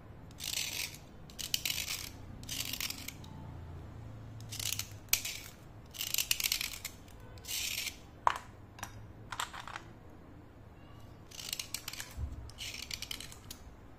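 A single thin, solid slate pencil held upright in the fingers is scraped with a snap-off utility knife blade, its dust falling onto a white plate. The result is a run of short, dry, bright scraping strokes separated by brief pauses, with a few sharp clicks and a faint low hum underneath.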